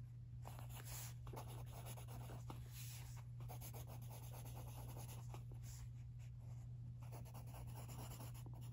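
A wooden pencil, held in a hand with long teal nails, scratches across the thin page of an open lined paper notebook lying on carpet while writing. Soft, dry scratching strokes run steadily throughout, riding over a constant low hum, with the overall level staying quiet and even.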